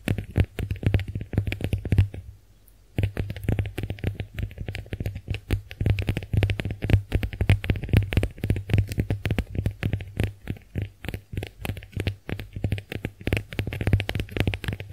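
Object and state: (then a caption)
Konjac face sponge. Long nails rapidly scratch and tap the porous surface of a pink heart-shaped konjac face sponge gripped in the hands. The sound is a dense, irregular stream of short, dry, low-heavy scrapes and thumps with a brief silent pause around the two-second mark.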